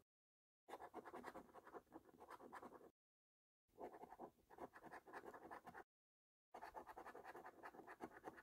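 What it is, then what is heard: Scratch card being scratched with a coin. A metal coin held in the fingertips repeatedly scratches the latex scratch-off coating from the game boxes of a thin paper lottery scratch card, leaving debris on the card. Three bursts of quick, dry, rasping strokes are heard, separated by short silences, with the scratching mostly in the midrange.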